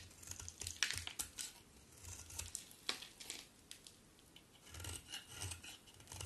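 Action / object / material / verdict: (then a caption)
scrape / bar of soap shaved with a blade / soap / none. A hand-sized solid cream bar of soap with a dark outer layer is scraped and shaved with a box cutter blade, and flakes fall off. Bright, dry rasping scrapes come in quick irregular strokes, each with a soft low thud beneath and almost no ring.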